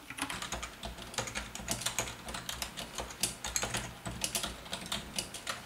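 Fast typing with the fingertips of both hands on a full-size black plastic Logitech wave-style membrane keyboard with a hollow housing. Rapid, irregular, bright plastic key clicks and thuds follow each other with very short decay, with steady low hum-like tones underneath that may be faint lofi music.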